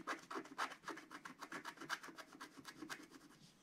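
A wooden stylus scrapes fill strokes across the lower design of a flat scratch art card, coated black card. A quiet, rapid run of short, dry scratching strokes, about four per second and slightly uneven, has a bright, raspy texture with almost no low end, and the strokes fade a little toward the end.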